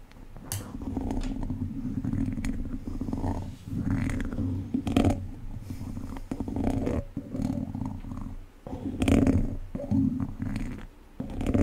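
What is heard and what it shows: One wooden chopstick scratches across the top of an uncovered, hollow, domed wire-mesh microphone grille. It makes a deep, rumbling, boomy scrape, heavy in the low end, that swells and fades in uneven strokes with brief sharp scratches between them.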